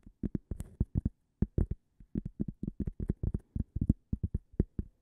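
A small, thin, toast-shaped solid cork coaster, held upright close to the microphone, is tapped with long fingernails about 28 times in quick, irregular bursts. Each tap is a soft, dull, low knock that dies away at once with no ring.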